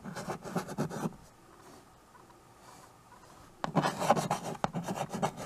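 A stick of white chalk scratches and rubs across a small, flat chalkboard, a painted board in a wooden frame held by one hand with teal nails, while names are written on it. Quick, raspy strokes run for about a second, then a near-silent pause follows. Another longer run of gritty scratching and rubbing strokes lasts to the end.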